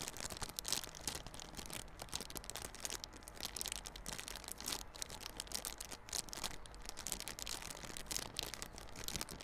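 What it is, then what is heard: Plastic-wrapped cardboard box being scratched. A small yellow cardboard Realme Buds Classic earphone box in clear plastic wrap is held on its side while fingers scratch and crinkle the film. The result is a quiet, steady stream of bright, crisp crinkling and scratching with short, dense bursts over a faint low hum.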